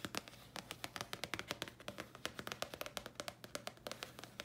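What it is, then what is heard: Thin paper card. A thin, flat, red printed Thayers paper card is held upright and tapped with the long nails of both hands. The result is a quick, uneven stream of sharp, bright clicking taps, each dying away almost instantly, over a faint low steady hum.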